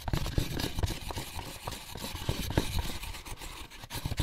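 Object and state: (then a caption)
Empty molded pulp egg carton. Fingertips and short nails scratch and tap the lid and paper label of an empty, closed, white molded paper pulp egg carton. The hollow carton gives dull, low thumps with very short decay, mixed with soft, dry papery scratching across the whole clip.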